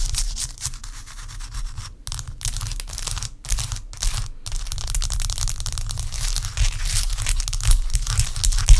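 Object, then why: Block of ice scratched with long nails. Long acrylic nails scratch and tap a large, clear, solid block of ice resting on a striped towel. Dense, bright scratching and rubbing comes in quick, irregular strokes with a few brief silent gaps, over a steady low rumble. The scratching grows slightly louder toward the end.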